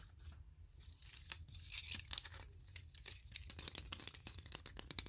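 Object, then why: Wooden clothespins with metal springs. Fingertips and short nails scratch and tap across the wooden ridges of a block of many wooden clothespins with metal springs, clipped side by side. Quiet, bright, dry rasping scrapes mix with quick sharp clicks that die away instantly. A soft low rumble sits steadily underneath.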